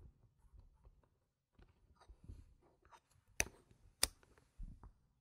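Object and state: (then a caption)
Plastic game chips clicked together. Stacks of solid round plastic poker-style game chips with coloured rims and gem stickers rest on a fabric mat and are tapped and clicked with long painted nails and fingertips while being restacked. Soft, low shuffling and light taps lead into two sharp, bright clicks near the end, each cutting off almost instantly. The overall level is quiet, with a brief pause early on.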